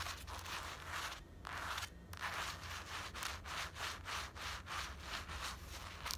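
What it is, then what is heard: Fleece sweatshirt scratched. Long black acrylic nails scratch and rub the front of a grey printed cotton-blend fleece sweatshirt worn on the body. The result is a steady series of soft, bright, hissy scratching strokes, about one and a half per second, with a faint low hum underneath.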